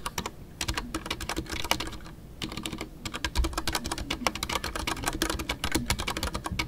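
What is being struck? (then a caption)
Mechanical keyboard with PBT plastic keycaps. Fingertips type continuously on a full-size Ducky One 2 mechanical keyboard with a white case, MX Brown switches and custom PBT plastic keycaps. The result is a steady stream of crisp, clacky keystrokes, each a sharp bright click over a muted low thock, with a brief lull near the two-second mark before the typing resumes.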